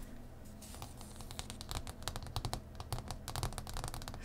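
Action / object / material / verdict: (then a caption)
tap / thick printed cardboard game board on cloth / cardboard / none. A thick printed cardboard faction board lies flat on cloth and is tapped and scratched with the long nails of both hands. A run of quick, dry clicking taps mixes with scratchy rasps over a low, steady hum, and each tap dies away at once with no ring.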